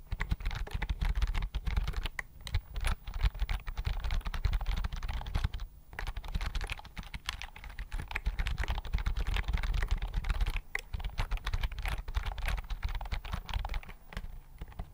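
Fingertips type steadily on a slim white plastic computer keyboard held close in front of the microphone. Fast, continuous key taps give crisp, bright clicks over a dense, heavy low thump, with only brief pauses between bursts.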